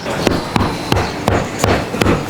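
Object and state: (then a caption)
Sound-deadened car door, solid knock. A Toyota Innova Zenix car door with full sound deadening on its sheet metal panel is knocked six times in a steady rhythm. Each knock is a short, dull thud that dies away quickly with almost no ringing. The door sounds solid, as expected after the deadening treatment.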